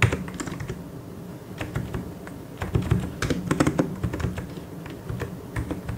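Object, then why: Plastic mechanical keyboard. Fingertips type in continuous taps on a full-size white and grey mechanical keyboard with plastic keycaps. Short, dry clacks with a low, thocky body overlap in a steady stream, with a louder burst of keystrokes around the middle before the typing settles back to an even pace.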